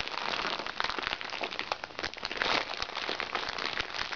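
A small, crinkly recycled plastic makeup bag lies flat as hands squeeze, press and scratch the plastic. The result is a dense, continuous bright crackle of rapid crinkling snaps, with almost no low end and no pauses throughout.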